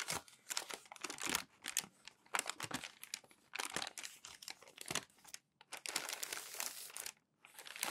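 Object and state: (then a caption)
Glossy magazine paper being crumpled and smoothed. Flat palms and fingertips smooth and rub crumpled glossy magazine pages flat on a white table, then lift and fold each thin, flexible page over. Dense bursts of bright, crisp crinkling and papery rustling come in quick clusters, separated by brief quiet gaps, with almost no low end.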